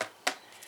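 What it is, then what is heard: Hollow dried zucchini. A dried hybrid zucchini, kept for over a year to save for planting, is tapped twice, giving short, dry, hollow knocks with little ring. It sounds hollow because the seeds have used up the flesh inside.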